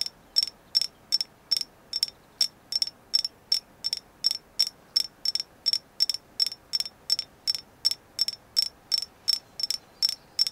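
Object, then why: Thin agate slice. Long nails tap a thin, flat, hand-sized, solid painted agate slice 31 times in a steady rhythm. Each tap is a sharp, bright click that dies away almost instantly, with no low-end body.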